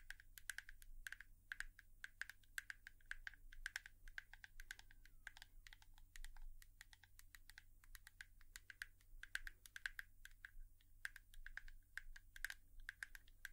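A hairbrush is tapped with long nails in a quick, steady run of crisp, dry clicks for ASMR. Each tap is short with almost no ring, centred around 1.6 kHz with bright ticks on top, over a constant low hum.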